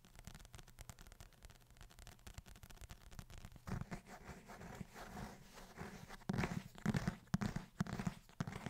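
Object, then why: Leather-covered book. Fingertips tap and scratch the cover of a brown leather-bound book held up in both hands. The sound is a quiet, low, dull patter of rapid, uneven taps mixed with dry scratching. It grows fuller after a few seconds and peaks in a louder cluster of taps near the end.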